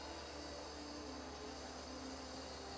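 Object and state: Nothing is struck.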